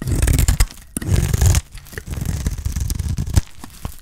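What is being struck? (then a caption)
Bar of soap scraped with a knife blade. A utility knife blade scrapes and shaves thin strips off a solid bar of dry green soap. The sound is a series of rough, crumbly scraping strokes, heavy and low, with brief sharp crackles. Short pauses fall between the strokes.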